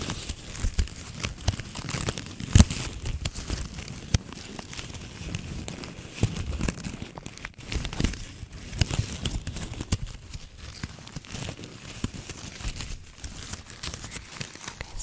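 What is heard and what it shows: A red and white plastic ribbon gift bow is crumpled and scratched with long nails, giving continuous close crinkling and crackling for about fifteen seconds. The dense, sharp rustles carry a low thumping body under bright crackle, with a louder snap early on.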